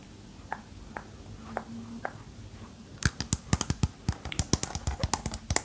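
A small hanging disco ball covered in small square mirror-glass tiles, likely over a hollow or lightweight core, held up by its chain, is tapped and scratched across the tiles with long painted nails. A few soft, spaced taps give way after about three seconds to a quick run of sharp, bright glassy clicks. Each click dies almost instantly over a faint low hum.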